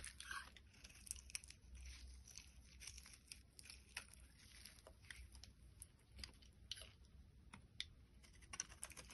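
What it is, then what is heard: Bar of soap being shaved. A box cutter blade shaves thin layers off a solid orange translucent bar of soap held in the hand. It makes quiet, crisp scraping and crunchy cutting sounds, with bright clicks and crackles over a faint low hum.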